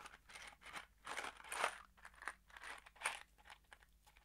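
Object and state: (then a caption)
Cardboard box of screws rattled. A small kraft cardboard box holding screws is held in the fingers and shaken or tilted, so the screws rattle and slide inside it. The result is a quiet series of short, dry, crunchy bursts, bright and mid-heavy with almost no low end, that come in uneven waves and stop quickly.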